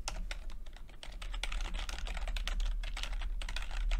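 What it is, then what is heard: Plastic chiclet computer keyboard. Fingertips type steadily on a plastic backlit chiclet computer keyboard with plastic keycaps. The fast, short, bright key clicks run together over a steady low hum and grow slightly louder as the typing continues.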